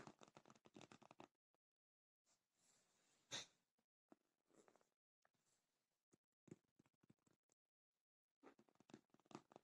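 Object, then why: Padded faux leather cosmetic case. Long nails tap and scratch the top and front side of a black faux leather padded cosmetic case, and fingertips rub it. Quick clusters of dry, bright clicks alternate with softer brushing scrapes and short pauses, all at a very quiet level.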